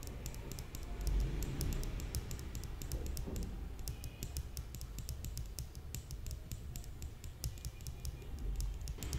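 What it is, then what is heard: Metal cylindrical tube. A shiny, hand-sized metal cylinder with ridged segments and a hollow look, likely an aluminium makeup brush holder, is held upright in one hand and tapped and scratched with the long painted nails of the other. Quick, light, bright clicks and scratchy taps patter steadily over a soft low rumble throughout.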